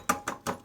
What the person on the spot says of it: you can shake it and you can hear the stuff rattling